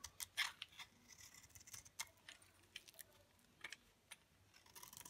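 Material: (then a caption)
Soap. A dry, solid olive green bar soap held in the palm has a utility knife blade shaving stacked curls off its surface. The result is a quiet run of crisp, bright scraping clicks and ticks with almost no low end, each dying away almost at once.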